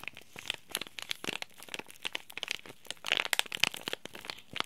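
A small flat green printed Oi Ocha tea bag packet made of soft laminated plastic-foil film, holding a tea bag, is squeezed and rubbed with fingertips and short nails. Dense, bright crinkles and sharp crackles rise and fall throughout, with a busier, louder stretch near the end and almost no low end.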